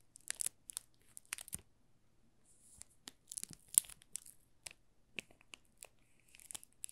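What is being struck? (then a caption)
Soap bar in thin plastic film. A small solid bar of green olive Marseille soap, wrapped in thin clear plastic film and held in both hands, is pressed, rubbed and scratched with fingertips and short nails. The film gives off a quiet run of sharp, bright crinkles and crackles in irregular bursts, with short gaps of near-silence between them.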